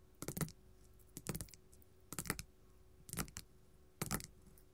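Gold metal filigree claws tap a flat pink glitter faux leather sheet lying on a table. Five short bursts of quick, dry clicking taps come at uneven intervals, each fading almost instantly, with a soft low thud under a crisp, bright top.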